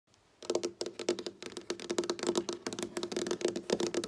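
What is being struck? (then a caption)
Wooden tabletop tapped with fingernails. Long black-polished nails tap and scratch with both hands on a flat, solid dark wooden tabletop with visible board seams. After a brief quiet start, a quick, uneven run of crisp, clicky taps begins, each with a short hollow tone in the mid-range and a bright edge that dies away almost at once. Faint scratching fills the gaps between the taps.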